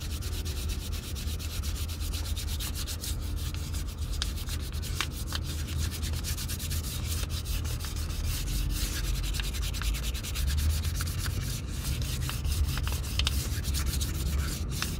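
A brown leather Red Wing Pecos 9801 cowboy boot is held in the hand while fine sandpaper under the fingers is rubbed rapidly over the toe. The result is a steady, continuous sanding scratch: a bright, fine rasp over a heavy low rumble, holding an even level for the whole clip.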